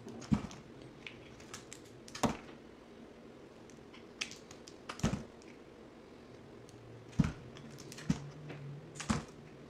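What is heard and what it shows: A box cutter blade shaves and cuts thin curls from the edge of a solid green bar of soap held in the hand, sped up to twice normal speed. Sharp, dry, crisp clicks and snaps sound at irregular intervals, each dying away almost instantly, over a quiet low hum.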